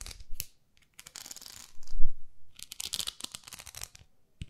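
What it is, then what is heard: Plastic facial cleansing brush. Long nails tap and scratch a round, flat pink plastic facial cleansing brush pad with a handle. Short, crisp taps mix with bright, raspy scratching bursts, with a louder dull thump near the middle of the clip.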